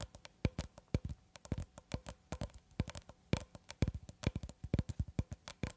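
Long red acrylic nails tap the surface of a long cylindrical roll of clear plastic cling film, solid wound film held horizontally. About 35 quick, irregular taps sound dull and muffled, with a low thump, a faint bright click and almost no ring.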